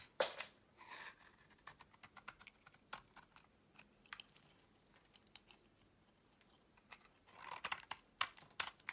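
A utility knife blade scrapes curls and flakes off a solid yellow bar of soap held in the palm. It makes a quiet series of short, crisp, bright scraping and crackling strokes, with denser bursts of shaving at the start and near the end and softer, sparse scrapes in between.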